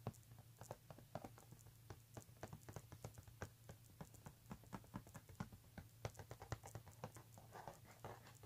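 Fingertips and short nails scratch and tap the flat front panel of a medium-size, hollow pink embossed leather handbag with brown leather trim, lying flat on a table. A quick, uneven run of short, dry taps with brief scratchy rubs between them sits over a steady low hum.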